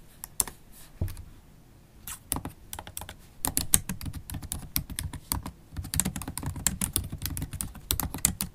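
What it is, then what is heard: Laptop keyboard with plastic keys. Long acrylic stiletto nails type on a MacBook Pro keyboard with black plastic keys in an aluminium body. Quick, bright clicks and taps with a low thud under each one come in bursts, separated by short pauses.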